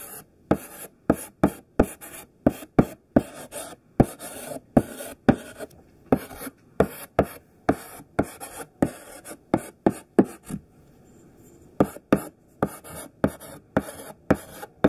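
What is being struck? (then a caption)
Thick chalk on chalkboard. Chunky pink sidewalk chalk held in the hand writes letters on a black chalkboard with coarse scraping strokes. About 32 short, dry scratches follow one another in quick bursts, with a brief pause near the middle before the writing resumes.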